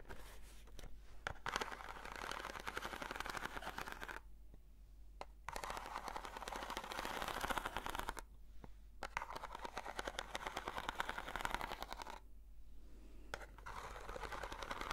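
Long nails scratch and tap along the side of a long, narrow, hollow corrugated cardboard box with a textured surface. Dense, papery scraping runs in bursts, broken by short quiet pauses, with a dry midrange rasp and sharp little clicks from the nail taps.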